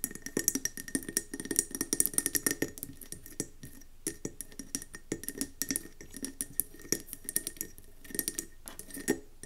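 A round, gold-speckled mercury glass candle jar with a metallic rim and gold wax top, resting on a wooden table, is tapped quickly with long nails. The result is a dense, irregular stream of short, bright glassy clicks with a faint steady tone near 2 kHz. Each tap dies away almost instantly.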